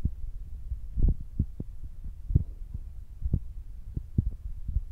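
Fingertips tap on top of the soft black foam windscreen on a Zoom recorder, making a series of dull, muffled low thumps with almost no ring. The taps sit almost entirely in a deep, boomy low range with nothing bright above, over a faint low rumble like a heartbeat.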